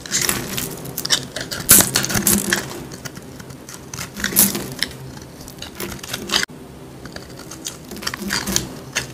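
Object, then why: Bar of soap carved with a metal blade. A metal blade tool scrapes and carves a solid, dry, palm-sized green soap bar held in hand, cutting a hollow into its face as shavings fall. Repeated dry, crackly scraping strokes come in bright bursts over a low, steady rasp, with a brief drop to near silence partway through.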